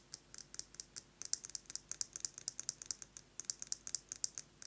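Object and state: Metal lipstick case.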